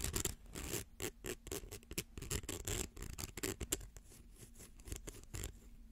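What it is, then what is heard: Plastic slinky scratched. A fingernail scratches across the coil edges of a small coiled rainbow plastic slinky held close to the mic. It makes a quick run of short, dry, bright scratching bursts with a soft low rumble underneath. The bursts grow fainter toward the end.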